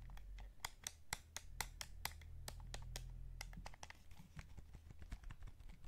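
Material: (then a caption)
Plastic. Fingertips tap the face buttons and shell of a hollow light blue plastic PS5 DualSense gamepad, giving a rapid, irregular series of short, dry clicks with bright edges and almost no ring. A steady low hum sits underneath the quiet tapping.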